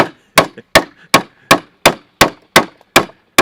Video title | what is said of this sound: Sturdy Timber Framed Sawhorses | can hear them tightening up